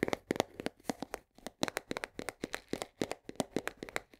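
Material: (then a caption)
Cardboard. Long nails tap quickly on the side and edge of a full 1 kg cardboard box of coarse salt. About 25 short, dry, clicky taps come in an uneven rhythm, each with a papery mid-range knock and a bright snap that stops at once with no ring.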